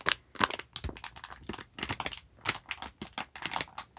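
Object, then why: Sponge pack in thin plastic film. A hand-sized, soft pack of yellow sponges sealed in thin clear plastic film with a black cardboard label is held in one hand and squeezed and rubbed with the fingertips to crinkle the wrap. The result is a rapid series of short, sharp, bright crackles and crinkles that stop almost instantly, with very little low end.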